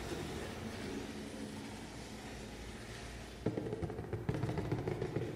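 A large, hollow, black printed cardboard shoe box is held upright beside the face while fingertips and nails tap and scratch its flat grey side panel. For the first few seconds there is a steady, low, soft scratching rustle. It then gives way to louder, sharper hollow taps with a dull low thump and a short, quickly fading ring.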